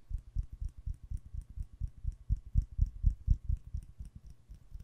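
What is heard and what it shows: A red glass candle jar filled with wax is held close and tapped with fingernails on its side and bottom. About 22 quick, slightly uneven taps come at roughly two per second, each a dull, low, close thud with a faint bright click on top. Each tap dies away almost at once with no ring.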